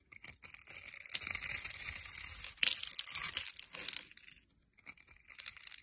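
A metal blade scrapes the scored surface of a solid rectangular bar of blue and white striped soap held in the hand, so shavings and cubes fall off. After a few short scrapes, a steady, bright, crunching scrape runs for about three seconds. It stops briefly, then softer, scattered scrapes follow.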